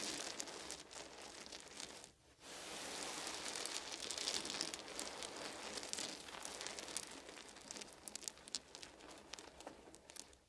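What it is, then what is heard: Wooden beads. Fingertips and palms rub and rake through a pile of small solid wooden beads on a blanket, producing a dense, bright clattering rustle of many tiny clicks. The sound drops out briefly near two seconds, then resumes steadily and fades slightly toward the end.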